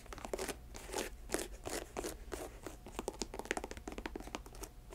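Long nails tap and scratch the upper and air-bubble sole of a hollow, empty white leather Nike Air Max sneaker held in hand. Quick crisp taps mix with bright, scratchy, crinkling bursts over a steady low hum.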